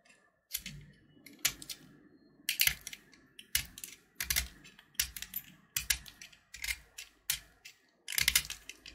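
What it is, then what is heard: Candy-coated chocolate button being carved. A small solid purple candy-coated chocolate button (Gems), held in the fingers, is carved with a utility knife blade, and purple shell flakes fall off. About ten short, dry, bright scrapes sound one after another with brief pauses between them. The scrapes have a crisp, high crackle and almost no low end.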